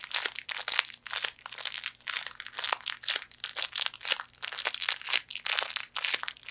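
A broken fortune cookie inside its plastic wrapper is crushed and squeezed with fingers. Bright, dense crinkling and crunching crackles run in quick bursts throughout, with almost no low end.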